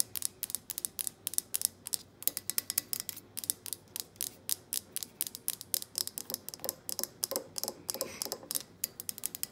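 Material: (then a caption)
Glass. A glass jar candle with a printed paper label and a black lid, filled with solid wax, is tapped with long painted nails and fingertips on the lid and the glass sides. About fifty quick, bright clicks come in a rapid, uneven stream, each very sharp and high-pitched with almost no ring and very little low end.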